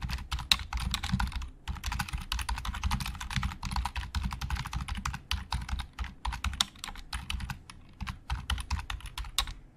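Fingertips type on a black plastic Logitech keyboard with hollow plastic keys, producing a fast, steady stream of sharp, bright clacks over a soft low thump. Each keystroke dies away almost instantly, with brief pauses breaking up the rapid typing.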